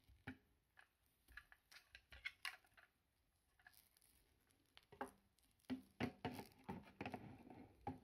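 A thin, solid, coiled white PVC lamp cable with plastic sheathing is held in both hands while the fingers rub and unwind the coils. Quiet, irregular soft taps, rustles and squishy plastic creaks come in uneven bursts, with brief bright clicks. The sounds grow denser and louder toward the end.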